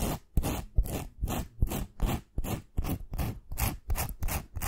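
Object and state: Glitter-coated wooden pencil scratched with nails.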